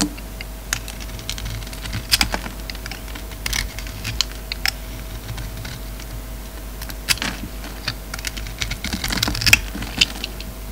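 An oval solid bar of soap with a glossy dark red coating and a black interior is held in the hand and carved and shaved with a utility knife blade, the shavings piling up. Short, crisp, bright scraping ticks and clicks come in irregular bursts over a quiet background with a faint steady tone.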